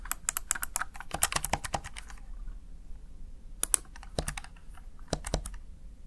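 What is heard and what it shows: A Razer Tartarus Chroma plastic backlit gaming keypad is tapped with fingertips, producing rapid, crisp plastic key clicks in bursts with brief pauses. The clicks are short and dry with bright high-frequency snaps over a low background hum.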